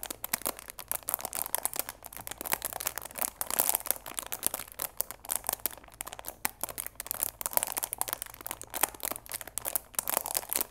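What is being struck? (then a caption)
Cardboard box wrapped in clear plastic film. Fingers squeeze and crinkle the clear plastic film wrapped around the sides of a cardboard chamomile tea box. Dense, dry crackles come in quick bursts across the whole clip, bright and crisp with almost no low end, and each snap dies out instantly.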